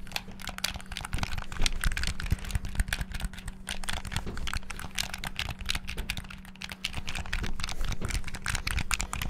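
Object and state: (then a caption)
Plastic game controller. The face buttons and triggers of a black hollow plastic Xbox-style gamepad are rapidly pressed and tapped with fingertips. The result is a dense, continuous stream of short, dry plastic clicks and clacks with bright, crisp edges. A steady low hum runs underneath throughout.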